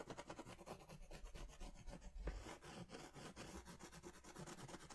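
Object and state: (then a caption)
Crayon rubbed on a paper drawing pad. A crayon or pastel is rubbed in circular strokes over a large paper sketch pad held upright, including across its coloured center. The clip is a steady, rhythmic scratchy rubbing with a soft low rumble, each stroke rising and falling in a continuous pattern.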